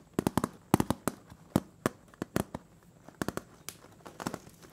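Fingernails scratch and tap the bare, ridged metal bottom of a large round butter cookie tin turned upside down. Quick, irregular clusters of sharp, dry clicks and crackly ticks come with a faint hollow low thump. Each tap dies almost instantly against a quiet background.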